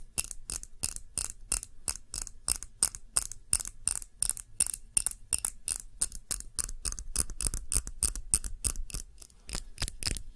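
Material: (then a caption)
Glass. Fingernails tap the sides and base of a clear glass tumbler holding red wax candle, with a label on its base. The result is a fast, uneven run of sharp, bright clicks with a short glassy ring that dies almost instantly, over a faint low rumble.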